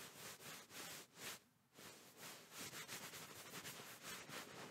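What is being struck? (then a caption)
Quilted fabric pillow. A medium-soft white pillow in a quilted fabric case is held up in front of the microphone while fingertips and open palms pat and rub it. This makes a soft, bright, hissing fabric rustle in repeated swells, with a brief quiet gap partway through.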